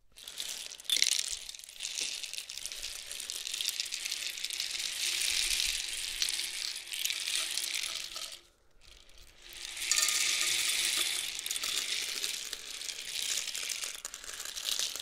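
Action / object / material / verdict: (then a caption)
shake / cardboard rainstick tube with loose filling / cardboard / none. A long, hollow cardboard rainstick painted blue, red, yellow and purple, with loose filling inside, is held in both hands and tilted end to end. The filling cascades down the tube in a dense, bright, hissing patter of tiny rattles. The sound fades to near silence midway as the stick is turned over, then swells again with the next pour.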